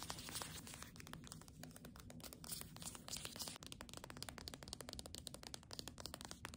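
Long nails tap and scratch rapidly over the cover and spine of a "Doggerel" hardcover book in a paper dust jacket. A dense stream of crisp, dry clicks and scratchy crinkles sits over a soft, low rustle, with a brief dip partway through before the tapping picks up again.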